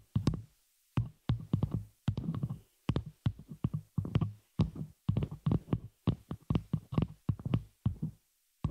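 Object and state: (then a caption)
Metal microphone shock mount tapped. Long nails of both hands tap and scratch the metal frame of a small, hollow, open spider-cage shock mount holding a microphone. Quick bursts of dull, low thumps and clicks come in clusters separated by brief silences, each hit dying away almost at once.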